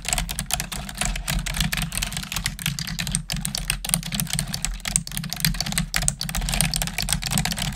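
Long acrylic nails and fingertips type rapidly on the hollow plastic keys of a black plastic desktop computer keyboard. A fast, steady stream of sharp, bright clicks and clacks rises over a constant low hum.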